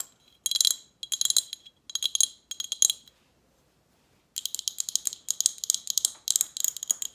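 Long acrylic nails rapidly tap a hollow, empty glass Snapple bottle with a label and metal cap, making bright, sharp clicking ticks in quick bursts. The tapping pauses for about a second and a half, then resumes as a denser, faster run of crisp, high clicks with almost no ring.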